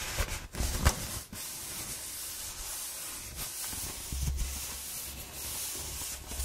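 Long nails and fingers rub and scratch along the ridges of a hollow brown corrugated cardboard roll while a hand grips it. A steady, bright, papery rasp runs throughout, with two sharper scratches near the start and a low rumble underneath.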